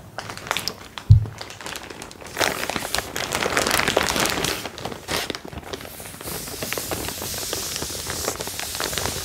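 A large, empty cotton canvas tote bag, held flat, is crinkled, rubbed and scratched with long painted fingernails. A dense, crackling rustle of fabric runs throughout, with one soft low thump early on and a louder burst of rubbing in the middle. It settles into steady, hissy scratching at the end.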